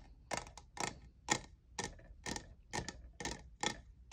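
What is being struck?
Plastic jeweled tumbler.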